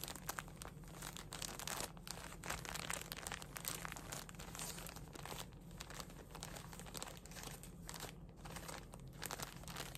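A full, soft plastic package of cotton pads is held, shaken and crinkled with the hands. Continuous, dense crinkling and crunching plays across a bright high range for the full ten seconds, with a steady low hum underneath and brief sharper crackles standing out.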